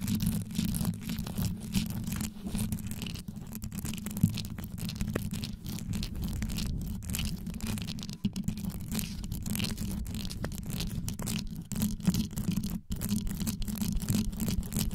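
Long yellow nail tips scratch and rake rapidly across the top and sides of a black condenser microphone whose grille is covered in rhinestones. A dense, continuous stream of scraping and tapping with a heavy low rumble, steady in level throughout, with occasional sharper clicks.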